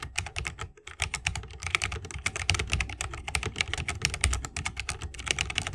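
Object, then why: Mechanical keyboard with bamboo case and plastic keycaps. A 60% mechanical keyboard with Holy Panda switches, a bamboo case and plastic keycaps is typed on continuously with the fingertips of both hands. It makes a rapid, steady stream of crisp, bright clacks with a soft low thock beneath each keystroke.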